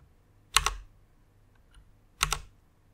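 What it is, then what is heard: Plastic mechanical keyboard. Fingertips with long nails type on the keys of a white plastic rainbow mechanical keyboard. Two quick pairs of bright, sharp clacks are heard, four clicks in all, separated by a short quiet gap with a light thump underneath each press.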